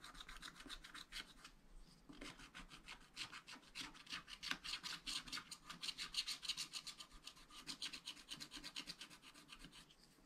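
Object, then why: Wax-coated paper scratch-art card scratched with a wooden stylus. A wooden stylus scratches away the black coating near the bottom of the picture on a thin wax-coated paper sheet from a spiral-bound scratch-art pad lying flat, while a flat hand steadies the pad. The quick short strokes make a steady run of soft, bright, raspy scratches with no low body, each dying away almost at once.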